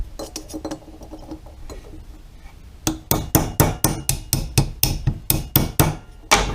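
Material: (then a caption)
Metal. A metal carburetor emulsion tube is tapped down into the carburetor body with a punch and hammer. Light, quick metallic clinks give way to about a dozen louder, sharper taps. The tube ends up fully seated, with its notch lined up with the key.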